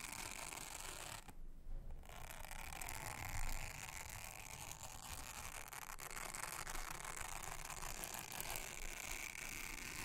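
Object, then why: Silicone honeycomb trivet mat. A round, thin blue silicone honeycomb trivet mat is brushed with a soft toothbrush. The result is a steady, close scratchy rustle with a low rumbling body and bright, hissy texture. There is a brief quieter gap early on, then continuous brushing to the end.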